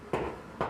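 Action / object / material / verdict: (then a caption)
tap / concrete floor patch / concrete / solid. Two taps on an old, badly done concrete patch on a basement floor produce dull, short knocks with a midrange body around 375 Hz. The patch sounds solid, though it forms a hump about two inches high.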